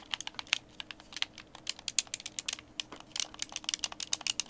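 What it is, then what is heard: Plastic game controller. Fingertips tap and click the buttons and thumbsticks of a white, hand-sized, hollow plastic Xbox game controller held in both hands. The result is a quick, uneven string of sharp, dry, bright clicks with almost no low end and no ringing, over a quiet background.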